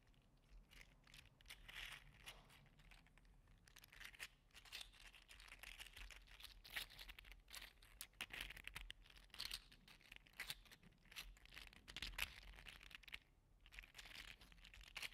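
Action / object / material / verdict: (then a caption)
scrape / 3D printed PLA plastic articulated slug toy / PLA plastic / none. A green and teal segmented 3D-printed PLA articulated slug toy is curled and flexed in one hand, making its segments click against each other. A steady stream of quick, dry, bright clicks and crinkly rattles runs throughout, rising in busier bursts and briefly easing near the end.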